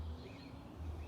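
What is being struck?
Nothing is struck.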